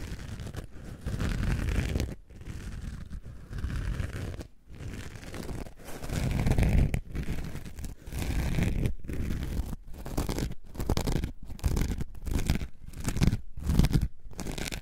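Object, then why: Orange foam sponge block. A solid, coarse-pored orange foam sponge block is scratched across its surface with long nails. Deep, low, rough scraping strokes come in bursts, separated by short silent gaps.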